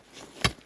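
A single sharp strike on Lake Couchiching's ice, where the snow has been cleared away, gives a short, bright crack with a low thud and a quick decay. The ice sounds solid, and black ice lies underneath.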